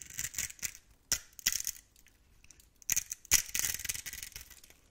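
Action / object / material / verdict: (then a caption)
scrape / bar of soap / soap / none. A blade tool carves a grid into a solid, hand-sized bar of green-turquoise soap held in the palm and scrapes off small cubes. Dry, crisp scratching and scraping comes in short bursts, very bright with almost no low end. Some strokes are sharper and louder, and a longer rasping scrape trails off at the end.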